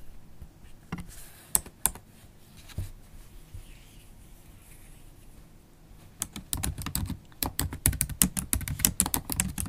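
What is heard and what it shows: Long black holographic acrylic stiletto nails and fingertips type on a MacBook Pro keyboard with black plastic keys set in an aluminium body. A few scattered, sharp clicks come first, then a quiet pause, then a fast run of rapid key taps. The clicks are short and bright, with a soft low thud beneath them.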